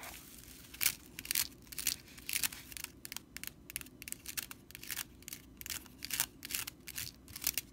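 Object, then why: Straw whisk broom bristles. Long nails scratch along the bristles of a straw whisk broom with red stitching, making dry, bright, crackly rustles. The bursts come in short, irregular strokes about twice a second over a faint low hum, with no ring after each one.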